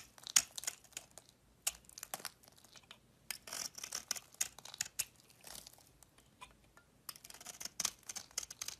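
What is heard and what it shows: A solid cream-coloured bar of soap with a pink rim, held in the palm, is carved with a metal utility knife blade. Short, crisp scraping and shaving strokes come in quick irregular bursts, dry and bright with almost no low end.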